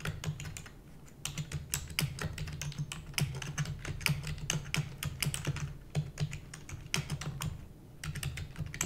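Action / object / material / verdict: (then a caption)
tap / plastic computer keyboard / plastic / none. A full-size black plastic computer keyboard with hollow keys is typed rapidly with the long nails and fingertips of both hands. Dense, bright clicky key taps come in quick bursts over a low hum, with brief pauses near one second and near eight seconds.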